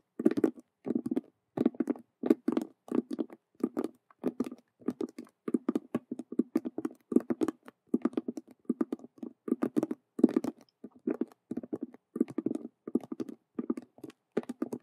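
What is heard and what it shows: Long nails tap and scratch fast with both hands on a hollow faux leather Rubik's cube handbag made of stitched vinyl squares. Rapid, dry, clustered clicks and scrapes come in short bursts with brief silent gaps. The sound is a hollow, mid-low patter centered around 250 Hz with almost no ring.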